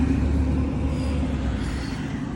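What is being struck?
Nothing is struck.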